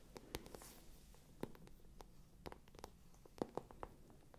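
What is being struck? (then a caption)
Patent vinyl-coated faux-leather handbag. A small light-pink shiny patent faux-leather (vinyl-coated) handbag with a gold chain strap, hollow and probably empty, is tapped and scratched on its glossy surface with long acrylic fingernails close to the microphones. Quiet, sharp, irregular clicks and taps come in a sparse scatter over a soft scratching hiss, each dying away almost instantly.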